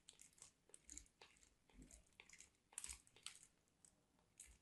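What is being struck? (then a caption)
Soap bar on a metal box grater. A small piece of white solid soap is grated on a handheld stainless steel box grater with repeated scraping strokes. Each stroke gives a quiet, bright, crunchy rasp with crumbly crackle, set apart by brief pauses.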